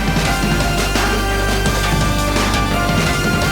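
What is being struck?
Nothing is struck.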